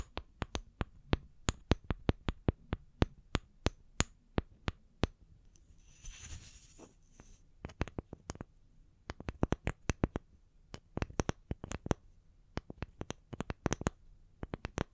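Long nails tap the ring-patterned cut faces of two small, solid, round wooden log slices, first held on their edges and then laid flat. Dozens of short, dry, clicking taps sound with a low woody knock and almost no ring. Around the middle, a brief soft scratchy hiss briefly fills in between the taps.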